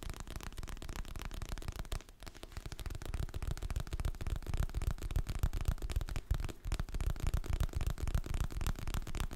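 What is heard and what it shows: Fingertips and nails rapidly tap and scratch the glossy printed cover of a solid, medium hardcover paper book held in both hands near the mic. The result is a dense, steady patter of soft, dull, low thumps with a faint scratchy texture, easing briefly around two seconds before resuming.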